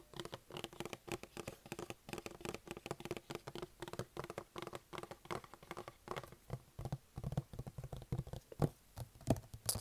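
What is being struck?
Closed cardboard box.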